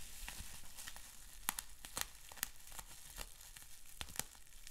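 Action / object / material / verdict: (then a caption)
scrape / plastic bubble wrap sheet / plastic / none. Fingertips pinch, pop and crinkle a clear plastic bubble wrap sheet with small bubbles. Sharp, bright pops and snaps stand out over a steady crackling, crinkling hiss, and each pop dies away almost instantly.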